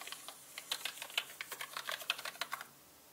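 A small paintbrush with orange bristles, held in the right hand, brushes across the hollow plastic keycaps of a full-size black mechanical computer keyboard. The keycaps give a run of quick, bright, dry clicks and clacks with almost no ring. The clicking stops just before the end, leaving faint quiet.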